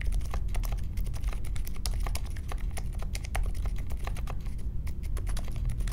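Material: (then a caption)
Plastic. Fingertips type steadily on the plastic keycaps of a compact Polaris mechanical keyboard with a metal case and Silent Alpaca switches, resting on a marble desk. A quick, continuous stream of soft, muted clacks carries a deep low thump under faint bright ticks.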